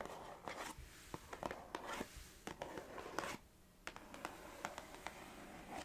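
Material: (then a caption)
Cardboard. Long acrylic nails tap and scratch the surface of a small, hollow orange Organix gingerbread cardboard biscuit box. Quiet, sharp clicking taps are mixed with soft, dry scratching and rustling. The taps ring only briefly.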